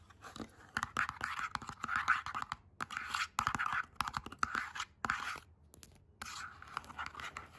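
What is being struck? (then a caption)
Small printed cardboard box scratched and tapped with long nails. Long acrylic nails scratch and tap the printed surface and edge of a small printed cardboard box with a batch/expiry label on its side. Bursts of dry, rasping scratching centered in the mid-range are broken up by sharp, quick taps with almost no ring, separated by brief pauses.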